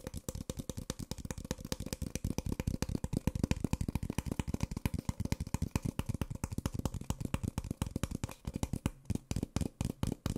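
An empty, small, hollow white Nespresso paper coffee cup is held in one hand and tapped along its printed side with the fingertips and short nails of the other hand. The result is a fast, steady run of dull, hollow taps that are weighted low and stop almost instantly. The tapping grows sparser and more uneven near the end.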